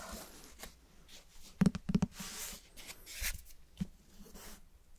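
Fingernails scratch and scrape the cloth cover and page edges of a closed, cloth-covered hardcover book held close to the microphone. Soft, dry rasping strokes come with a quick cluster of short, dull taps in the middle of the clip, with no ring after them.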